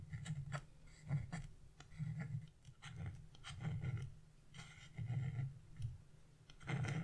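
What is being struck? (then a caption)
Wax-coated scratch-art paper scraped with a metal chisel. A narrow metal chisel scrapes the black coating off the bird's wing on a sheet of wax-coated scratch-art paper, lifting visible flakes. Irregular bursts of soft scratching rise and fall in quiet strokes, dominated by a low, rough rasp with brief bright scratchy streaks.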